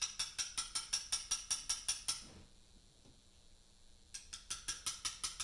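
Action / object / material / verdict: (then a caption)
strike / steel chisel struck with a mallet on a limestone slab / limestone / none. A carver strikes a chisel with a mallet against a large, solid Portland limestone memorial slab while cutting letters. About twenty sharp, bright taps are heard, each with a short, high metallic ring. They come in a steady run of roughly twelve, then a quiet pause of about two seconds, then roughly eight more.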